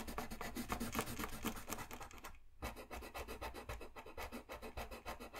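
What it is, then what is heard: Colored pencil shading on drawing paper. A colored pencil makes fast scratching and rubbing strokes across a thin, flat sheet of white drawing paper on a desk, shading an area. The rapid, gritty rasping repeats steadily, with a brief pause a little before midway, and carries a broad, bright hiss above a low rumble.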